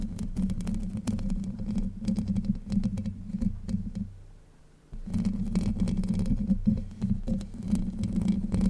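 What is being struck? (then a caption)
Steel wire-mesh microphone grille. Long white acrylic nails scratch and tap the hollow domed steel wire-mesh grille of a Blue Yeti USB microphone, producing dense, irregular scraping and clicking with a heavy low rumble centered around 200 Hz. The sound drops almost to silence for under a second near the middle, then the scratching resumes just as busy to the end.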